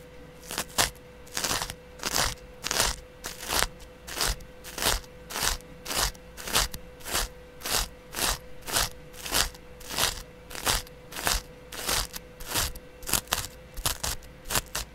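A flat, palm-sized, porous yellow cellulose sponge, held by a hand with long dark nails, is scratched with a small double-edge razor blade in the other hand. The result is a steady series of crunchy, bright scratching strokes at about 100 per minute, with a faint steady tone running underneath.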